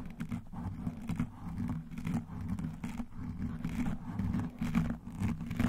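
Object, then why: Foam microphone windscreen. Both hands grip a soft black foam microphone windscreen and scratch and massage around it with fingertips and nail rings. The result is a dense, muffled, low rumbling scratch and rustle that swells and dips in uneven, continuous bursts, with almost no high end.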